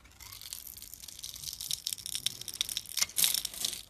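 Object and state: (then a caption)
Bar of soap being scraped and cut. A solid pink bar of soap, held in the fingers, is scraped and cut into small cubes with a metal blade as shavings fall off. The sound is a dense run of crisp, bright scraping and crunching bursts with almost no low end. It grows louder toward the close.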